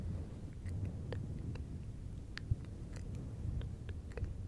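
Fingertips of both hands rub and scratch a fluffy synthetic fur windscreen on a silver microphone. A steady, muffled low rumble fills the clip, broken by brief, faint scratchy ticks.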